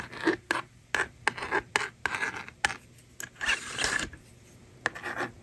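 A plastic stylus scratches numbers onto the honeycomb screen of a small hand-held blue and pink plastic magnetic drawing toy with a hollow case, while long painted nails slide its eraser tab. The result is a series of quick, dry, bright scratching strokes centered near 1.6 kHz, with short hollow scraping bursts and brief quiet gaps between them.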